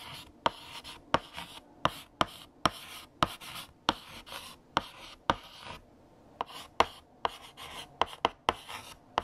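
A hand writes on a large, flat black chalkboard with a light blue stick of chalk. About sixteen sharp chalk taps with very short decay are heard, each followed by bright, dry scratching strokes, with a brief quiet pause partway through.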